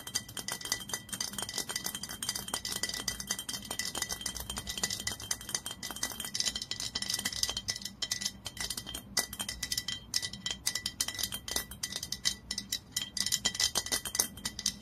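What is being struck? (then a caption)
Glass olive oil bottle with paper label and metal cap. A dark glass olive oil bottle with a paper label and metal screw cap is held in the hands while fingernails rapidly tap and scratch the glass and label. The result is a dense, steady stream of quick, bright clicks and scratchy rustles, each ticking off almost instantly.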